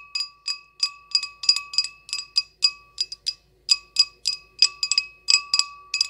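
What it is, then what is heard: Small glass goblet. An empty, hollow, small clear glass goblet with a short stem is tapped with long acrylic nails in a quick, uneven series of over twenty taps. Each tap gives a bright, high glassy ping with clear tones near 1.2 and 2.7 kHz that fades almost at once.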